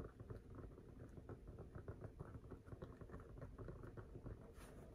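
A full-size, inflated, hollow rubber basketball in purple, black and yellow is held in the hands and tapped and scratched with fingertips close to the microphone. Quick, irregular, dull low thumps mix with soft scratching, and there is little high or bright sound. Each tap dies away almost at once.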